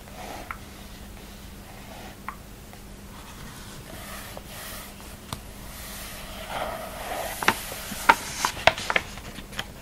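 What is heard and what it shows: Both hands rest flat on a large open catalogue of thin glossy printed paper, lying flat on a table and thick and solid as a stack, while the fingertips rub and scratch across the page surface. A soft, airy paper hiss runs throughout, broken by a few faint ticks, then grows louder toward the end with a cluster of sharp, bright scratches over a faint steady low hum.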